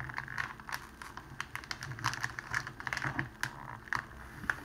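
A thin, clear cellophane wrapping strip lies on a table while both hands fold it and press it down with the fingers, crinkling it. Sharp, bright crackles and snaps come in quick irregular bursts, each dying away almost at once, with a tonal sheen around 1.7 kHz. A faint low rumble runs steadily underneath.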